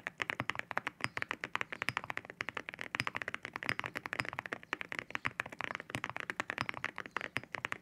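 Fingertips type steadily on a white mechanical keyboard fitted with ceramic keycaps. The result is a rapid, even run of about 59 crisp, bright keystroke clacks, centered around 1.7 kHz with very little low end. Each one stops dead with no ring.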